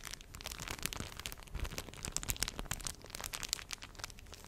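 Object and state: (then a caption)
Plastic film sheet crinkled. A thin, flexible sheet of clear, slightly frosted plastic film is held in both hands and wrapped around the front of a microphone while fingertips press and rub it. A dense, continuous crinkling crackle results, bright and high with sharp little snaps, over soft low thumps from the handling close to the microphone.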